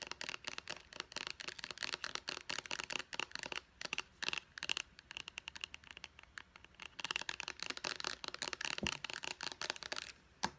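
Long nails tap and scratch quickly on a white plastic pump bottle near its label. The result is a dense run of sharp, bright plastic clicks and scratchy rustles with almost no low end, broken by a few brief pauses.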